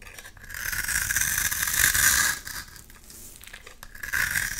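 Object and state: Bar of soap being scraped.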